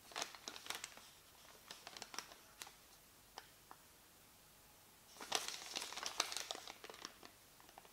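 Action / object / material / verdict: scrape / thin paper receipt / paper / none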